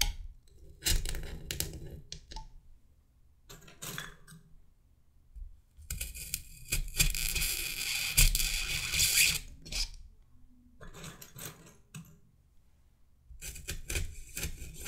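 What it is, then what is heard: Styrofoam mannequin head. A hand repeatedly pushes wooden toothpicks into the foam scalp of a white, solid polystyrene mannequin head and wiggles them. This makes rasping, rubbing foam squeaks with bright, scratchy highs over a low rumble. The sound comes in irregular bursts, with the longest, loudest stretch in the middle of the clip.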